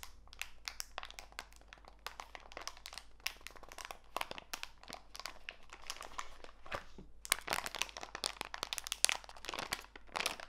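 A small clear plastic bag full of walnut pieces is pressed flat and crinkled by fingertips with long white nails. The result is a steady stream of bright, quick crinkles and crunchy crackles, growing denser and louder toward the end.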